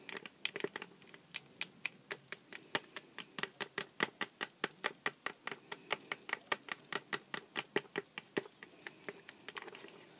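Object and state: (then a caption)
Cardboard box tapped with nails. A small, hollow Sour Patch Kids cardboard candy box standing on a cutting mat is tapped on its side with long black-painted nails. About 47 quick, dry, crisp taps come in an uneven rhythm, each dying away almost at once with a light, papery knock.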